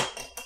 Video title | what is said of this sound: Découvrez les lunettes Bose Frames, des lunettes de soleil Bluetooth qui vous surprendront! | Du verre, ça l'aurait cassé en 1000 mille.